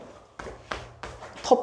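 A second spot on a solid concrete wall is knocked four times, giving short, dull, dead taps with almost no ring. The flat, solid sound confirms solid concrete, so an outlet here would need a groove chiselled into the wall.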